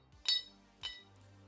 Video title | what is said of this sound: Shocking Silver Surge to $54: Bankers Panic in Short Squeeze! LIVE!🪙📈 | That's the sound of 18.7 troy ounces of silver